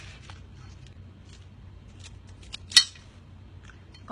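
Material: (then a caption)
Fried egg. A deep-fried Thai omelette, drained and left in the air to crisp up further, is broken or cut close to the mic. Light crackles build to one sharp, bright crunch over a low steady background hum. The crackling shows the omelette is very crispy.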